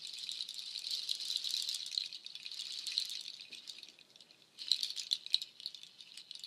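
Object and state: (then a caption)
Nut shell waterfall shaker. A nut shell waterfall shaker, made of hanging strands of dark hollow nut shells, is shaken and brushed with long nails. It gives a dense, bright, dry rattling clatter of many tiny clicks that thins to near silence for a moment, then returns in a sharper, louder burst before trailing off.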